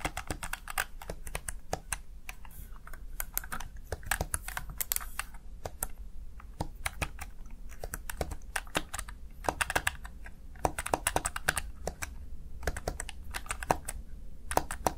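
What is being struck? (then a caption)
Plastic gaming keypad. Fingertips rapidly type on the keys of a small backlit plastic gaming keypad, a Razer Tartarus Chroma, viewed from the side. Quick, sharp, dry plastic key clicks tumble out in an uneven stream, each dying almost instantly over a steady low background hum.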